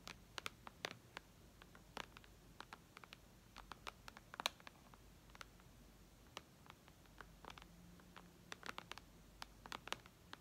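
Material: Glass.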